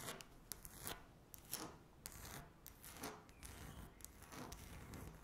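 Long natural nails scratch across a flat, solid speckled laminate tabletop. Uneven bursts of dry, raspy scraping with bright, hissy streaks rise and fade over a low rumbling bed, with brief pauses between strokes.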